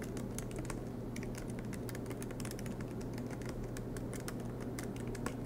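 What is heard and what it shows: Fingertips of both hands type continuously on a silver MacBook Pro's black plastic low-profile keys set in an aluminum chassis. The result is a steady stream of quick, light, bright clicks over a constant low hum.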